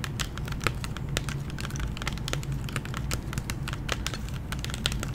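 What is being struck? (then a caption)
Clear plastic blister pack on cardboard backing. Long nails tap and lightly scratch a candy blister pack, a hollow clear plastic shell with a gummy inside on a cardboard backing. A quick, uneven run of short, bright plastic clicks and soft scratches sounds over a steady low hum, each tick dying away almost at once.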